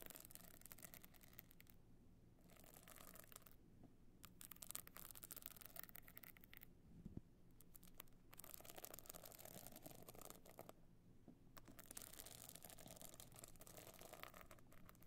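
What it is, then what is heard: Stone-chip covered box clutch. Long nails scratch across the pebbled face of a box clutch covered in small glued stone and shell chips, tilted on its side. Quiet, bright, gritty scratching comes in bursts separated by short pauses, over a steady low hum.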